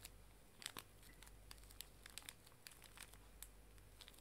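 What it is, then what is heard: Plastic-wrapped pocket tissue pack being crinkled. A small, full pink pocket tissue pack wrapped in plastic film is crinkled and squeezed with fingers and nails while held upright. Quiet, scattered, bright crackles and sharp ticks of the thin plastic rise and fall over a steady low hum.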